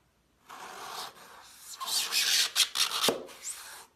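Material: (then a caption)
Floral foam. A gloved hand slices a solid, crumbly half-dome block of green floral foam with a glittery coated outer shell, resting on a white towel, using a metal kitchen knife. The blade makes a bright, dry scraping rasp as it cuts through the foam and sheds glitter, building to four sharp crunches near the end.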